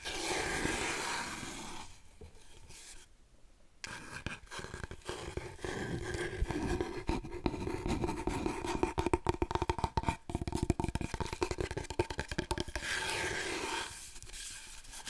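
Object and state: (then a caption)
Long cardboard tube scratched. Long nails scratch rapidly along the length of a long, hollow, empty cardboard paper roll tube held diagonally across the body. The result is a dense, irregular run of dry scraping and ticking strokes over a low, hollow resonance, with a brief quieter gap early on before the scratching picks up again.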